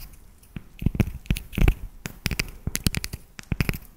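Long nails tap a solid, segmented dark chocolate bar held close to the microphone. Quick, irregular taps land as dull low thuds with bright clicky tops, some in quick clusters, each dying away almost at once.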